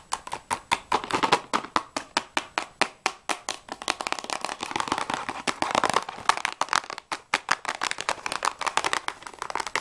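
A small printed cardboard box of Jaxon pastels/crayons, hollow and filled with sticks, is held in the hands and tapped and scratched quickly with fingertips and nails. Crisp, dry, short taps come in a steady run, then blur into a denser stretch of scratching before the sharp tapping returns.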